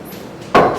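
A single sharp tap on the metal lid of a glass canning jar of tomato sauce gives a bright, tinny click. The lid is tight and pressed in, so the jar is sealed.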